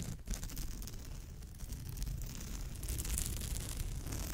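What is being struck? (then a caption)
Woven straw bag. Long almond-shaped nails scratch back and forth across the densely woven surface of a straw or raffia bag. The result is a steady, rough, crackling scratch with bright rustling texture over a strong low rumble, growing slightly louder toward the end.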